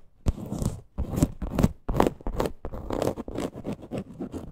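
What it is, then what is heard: Faux leather purse. Long green nails scratch and tap a small teal faux leather crossbody purse with a stitched parrot appliqué. Irregular bursts of dry, rasping scratches mix with soft taps, mostly low and muffled with little high end. Each stroke dies away almost instantly.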